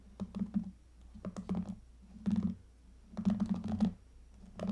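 Long fingernails scratch across the pink plastic bristle pad of a hairbrush held steady, making bursts of dry, crackly scratching and ticking. The scratching comes in four uneven clusters over a low, steady hum, with quiet gaps in between.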